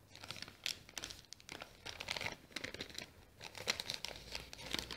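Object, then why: Small kraft paper bag. Fingers fold and crinkle a small, apparently empty brown kraft paper bag with a round sticker, while nails scratch its surface. The result is quiet, bright, papery crackling in irregular bursts, with sharp crisp ticks over a soft rustle and very little low end.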